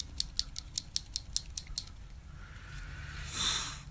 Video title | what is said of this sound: Full Face Makeup | you want to shake it because it has a ball in there